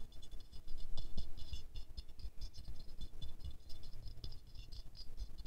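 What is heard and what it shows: Medium-long fingernails quickly scratch and tap the glazed petals of a small silver-glazed ceramic rose figurine held in the hands. A fast, uneven patter of dry, short clicks and scratches with bright, glassy highs rattles on throughout.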